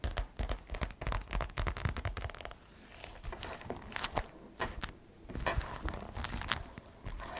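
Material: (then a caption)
Patent leather. Long red-painted nails rapidly tap and scratch the shiny front flap of a glossy black patent faux leather messenger bag with white trim, a soft hollow shoulder bag lying flat on a wooden table. Dense, dry clicks and crackly scratches carry a dull low thump from the hollow bag, with quieter scraping stretches between bursts of tapping. Each tap dies away almost instantly.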